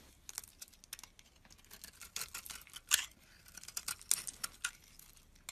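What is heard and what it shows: A hand-sized, embossed white-cream bar of soap held in the palm is shaved and scraped with a metal utility blade, peeling off curls. A quick series of quiet, crisp, bright scraping and crinkly cutting strokes, with a few louder sharp scrapes and almost no low end.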